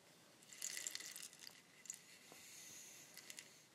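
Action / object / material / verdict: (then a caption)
shake / bamboo rainstick / bamboo / none. A long, hollow bamboo rainstick is held in both hands with long nails and tilted so its fill cascades through it. The result is a quiet, bright, hissing patter, almost entirely high-pitched, with a denser rush early on and scattered sharper ticks toward the end.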